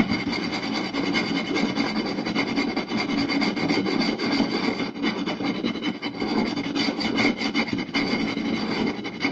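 Two hands scratch and tap the surface and edge of a round, solid wooden plate with fingertips and short nails. The result is a fast, dense, continuous rasping scrape with quick, dry taps mixed in, holding at a steady level throughout.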